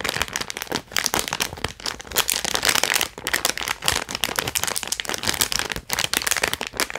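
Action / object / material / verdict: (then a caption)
scrape / foil-plastic zip-lock pouch / plastic foil / none. A small, flat holographic foil-plastic zip-lock pouch is held in both hands and squeezed and crinkled with the fingertips and nails. The result is a dense, continuous run of sharp, bright crinkles and crackles with very little low end, rising and falling in quick bursts that cut off almost instantly.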